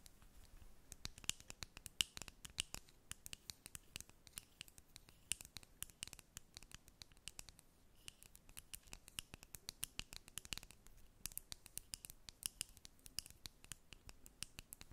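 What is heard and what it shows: A small clear plastic Maybelline Lifter Gloss tube with a square cap, partly full of gloss, is held in both hands and tapped and scratched with long acrylic nails. The result is a quiet, steady stream of rapid, sharp, bright clicks and scratchy ticks centered near 2.9 kHz. Each click is dry and dies away almost instantly.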